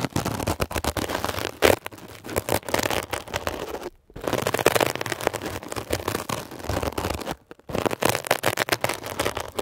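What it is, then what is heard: Mesh-covered foam sponge scratched. A metal ear pick scratches and pokes a textured blue mesh-covered foam scrub sponge. Dense, rapid crackling and scratchy rasps run throughout, broken by brief silent gaps near 4 and 7.5 seconds.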